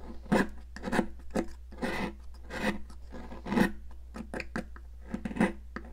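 A solid pink popsicle-shaped sidewalk chalk, held in a hand with long nails, is scraped in close-up with a metal palette knife. Repeated short, dry rasping strokes with gritty, bright edges come one after another, some longer and smeared, over a steady low hum.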